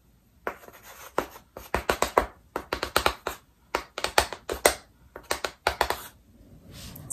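One hand strikes and drags a small chalk stick across a large, flat chalkboard with a black painted surface in a wooden frame, held upright. About two dozen sharp, dry taps and short, bright scratching strokes come in quick clusters separated by brief pauses. A faint, soft scrape trails at the end.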